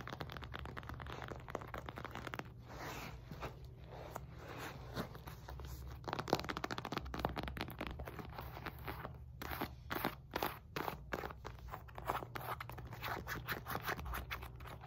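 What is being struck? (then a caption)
Synthetic leather medicine ball. Long painted nails rapidly tap and scratch the stitched panels of a solid, heavy 4–5 lb red and white synthetic leather medicine ball held on a lap. The result is a dense stream of dry, crunchy scrapes and quick clicks over a steady low hum.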